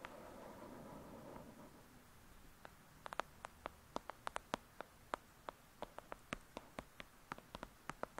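Long acrylic nails scratch and tap the cover of a thick, solid "Lady Midnight" paperback book. A soft, papery scratching fills the first second and a half. After a pause, a steady series of crisp, dry taps follows, each clicking sharply around 1.3 kHz with a bright edge and dying away at once.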